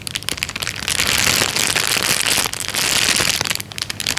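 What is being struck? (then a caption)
Thin plastic bag. A thin, clear, transparent plastic bag lies flat and is pressed and rubbed with the fingertips. It gives off dense, bright crinkling and crackling that swells louder through the middle and then eases back.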